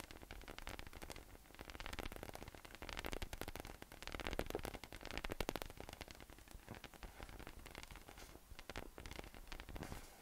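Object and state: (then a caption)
PVC spiky massage ball. A yellow, hollow, air-filled inflatable PVC massage ball with nubs rests on a table and is tapped and rubbed with fingertips. The result is a dense run of quick, soft, hollow taps over a continuous scratchy, hissy rustle, with a low, thuddy body. The level stays fairly steady for about ten seconds, with a few louder swells in the middle.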